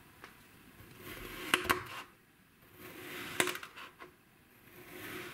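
A black kitchen knife held by fingers cuts repeated slices through a solid, hand-sized, flat round disc of blue kinetic sand with a dotted pattern pressed into the top, sitting on a white surface. Each stroke brings a soft, grainy hiss that swells and fades, punctuated by four short, bright clicks as the blade meets the table underneath.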